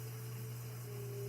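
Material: Nothing is struck.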